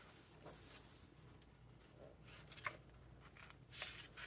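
Fingertips rub and flip the glossy paper pages of a large open hardcover book. Soft, bright rustling and brushing run throughout, broken by a few crisp page flicks, with the sharpest snap near the middle and a fuller swish toward the end.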